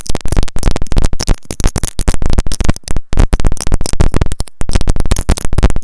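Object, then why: Plastic earphone inline remote and mic. Long nails rapidly tap a white plastic earphone inline remote and mic on a looped cable. The close, dense taps come through as deep, muffled thumps with a short decay, in quick bursts separated by brief pauses.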